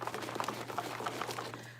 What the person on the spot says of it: it doesn't sound as crazy